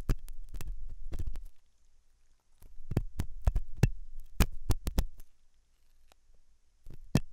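A hooked metal dental tool scratches inside the ear canal of a white translucent silicone ear model made of soft, solid rubber, likely mounted on a binaural ear microphone. Close, deep thumping scrapes come in uneven bursts with brief sharp clicks, separated by quiet pauses.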